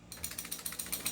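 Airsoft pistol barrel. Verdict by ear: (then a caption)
Loose. A non-upgraded T-Rex airsoft pistol is shaken, and its loose barrel rattles loudly. About eight quick, bright metallic clacks repeat in a steady rhythm, with little low-end weight. It sounds like a loose, faulty barrel.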